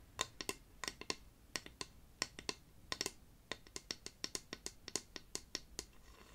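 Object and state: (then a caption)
Painted wooden figure, solid. A flat, painted wooden cut-out dwarf decoration about a hand's length long, solid, is held in one hand and tapped with the fingernails of the other. The clip is a quick, irregular run of sharp, dry, bright clicks with almost no ring, over a faint low hum.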